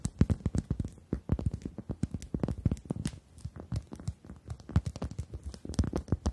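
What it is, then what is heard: Rubber chicken toy. Long acrylic nails tap and scratch the surface of a pink-red rubber chicken toy held upright in both hands. The result is a quick, uneven run of soft, dull, low thumpy taps that die away almost instantly, with faint brushing scratches between them and very little bright content.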